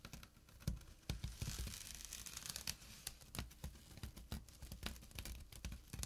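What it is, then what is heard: Burlap pouch scratched with nails. Short fingernails scratch across a small, flat burlap drawstring pouch, making dry, rough rasps and crackly scrapes. Quick, uneven strokes come with soft, low thumps and bright, scratchy texture, and each sound stops almost at once.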